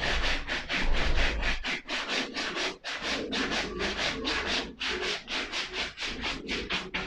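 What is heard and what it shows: A small wooden-handled brush is rubbed in quick back-and-forth strokes, about four per second, across the side of a hollow, empty black suede leather ankle boot. Each stroke gives a bright, dry, hissing scrape with short gaps between, over a steady low rumble underneath.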